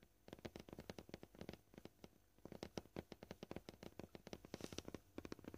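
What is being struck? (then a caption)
Plastic cutting board. Short purple-painted fingernails tap on a flat, solid, scratched white plastic cutting board at fast and slow paces. The result is a quiet stream of many short, dry clicks with a hollow, mid-low tone around 340 Hz, each dying away almost instantly.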